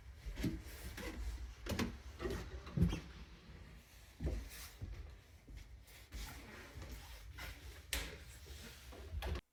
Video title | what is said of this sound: Bahay sa Canada ep. 5 | ipaparinig ko ulit sa inyo yung tunog ng kahoy